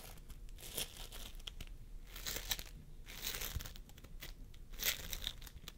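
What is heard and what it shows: A large mound of pastel purple, yellow and blue floam, made of tiny polystyrene microbeads in a sticky binder, sits on a wooden table while the fingertips of both hands press into it, pull, squeeze and knead it. This produces continuous sticky crackling and crinkling bead sounds with bright, popping bursts over a low background rumble.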